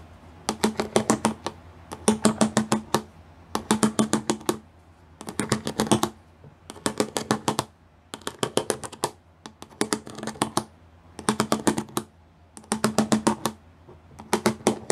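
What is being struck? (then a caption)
Plastic panel with pyramid studs. Fingertips and nails tap rapidly over the pyramid bumps of a solid grey plastic panel with pyramid studs. The taps come in ten quick bursts of short, dry clicks separated by brief pauses. Each click carries a faint hollow tone low in the mix and dies away almost at once.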